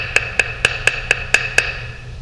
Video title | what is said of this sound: TV Fran TT Vídeo 02 | veja esse som bem Agudo É uma raquete com muita velocidade essa é uma raquete de carbono